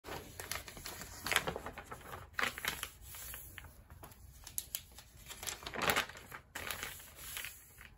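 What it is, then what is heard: Glossy paper magazine. Bare fingers turn the pages of a thin, flexible glossy paper magazine lying open on a rubber mat, while palms rub and press along the spine to flatten it. Bright, crisp paper rustling and crinkling comes in quick, short bursts over a softer, steady rubbing hiss, with louder page swishes standing out now and then.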